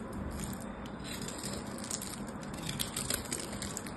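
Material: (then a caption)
Soap. A solid purple bar of soap is held in the hands while its surface is carved and shaved with a craft knife blade. The result is a steady, dense scraping and crackling, with small bright ticks and crisp flecks over a soft low rustle.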